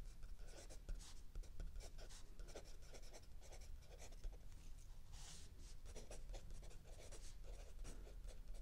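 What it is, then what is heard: Pencil writing on a notebook page. A mechanical pencil writes continuously on a lined paper page of a spiral-bound notebook lying flat on a wooden table, while an open paperback book rests still under the other hand. Quiet, steady scratching strokes rise and fall with bright, papery bursts over a low background hum.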